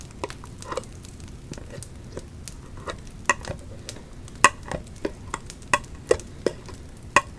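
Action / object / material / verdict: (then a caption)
tap / embossed thin metal candle lid / metal / none. Long acrylic nails tap and scratch along the raised embossed pumpkin pattern of a round silver metal lid from a 3-wick candle, held in the hands. Quiet, irregular scratchy rasping is broken by sharp, bright metallic clicks that ring only briefly.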